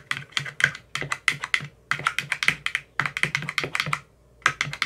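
A white-tipped metal rod rapidly taps into the green silicone cells of an empty clear plastic ice cube tray. About thirty quick, dry, bright clicks come in fast bursts with brief pauses between them. Each tap dies away almost instantly, with a tone centered near 1.6 kHz and little low end.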